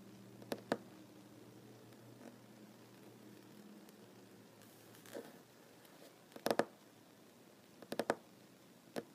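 Fingertips and short nails of one hand tap on a solid wooden tabletop, making short, dry knocks with almost no ring. The taps come in irregular, sparse bursts, some as quick doubles or clusters, over a quiet low hum.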